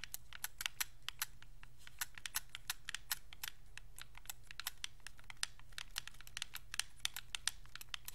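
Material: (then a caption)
Plastic. Thumbs press the buttons, d-pad and thumbsticks of a white Xbox 360 controller made of hollow hard plastic. They make dozens of quick, sharp, bright clicks that stop almost instantly, in an irregular stream over a steady low hum.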